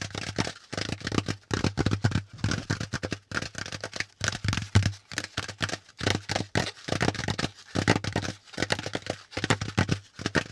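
Fingertips tap quickly on a hollow, pleated brown corrugated cardboard packaging insert. The taps come in rapid bursts separated by brief pauses, each a dull, hollow thump with a papery, rattly edge that dies away almost instantly.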